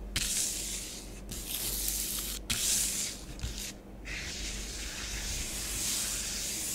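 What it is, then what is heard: Fingertips rubbing powder on a plastic tray. Fingertips and nails rub swirls and sweep through an orange layer of bath bomb powder on a grey plastic tray. A steady, bright, hissing scratch runs throughout, broken by a few brief pauses between strokes.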